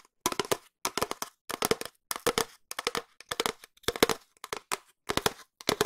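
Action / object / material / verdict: tap / cardboard tube / cardboard / none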